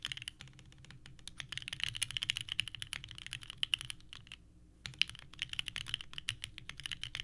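Both hands type continuously with the fingertips on a small 65% mechanical keyboard with a purple case and white ABS keycaps, resting on a desk mat. Rapid, bright, clacky key presses come in a dense stream with a faint low thump beneath. The typing briefly pauses just before the five-second mark, then resumes.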